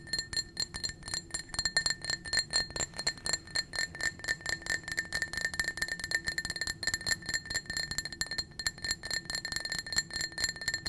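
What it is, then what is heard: Glass tumbler. A small, empty, clear blue-tinted glass drinking tumbler is tapped rapidly with long nails on its sides and rim. The result is a fast, continuous stream of bright, sharp clinks with a high glassy tone near 1.8 kHz, and each tap dies away almost at once.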